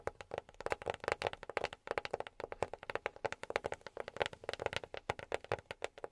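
A box is tapped quickly and continuously with silicone rubber pads worn on the fingertips. The taps are soft, dull clicks centered around the mid range, with very little low end, each dying away almost instantly.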